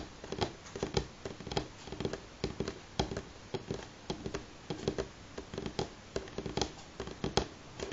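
Fingernails of both hands tap on a solid light pine wooden tabletop in quick, uneven clusters of taps. Each tap is a short, dry click with a hollow woody tone around 390 Hz and almost no ring, over a quiet background.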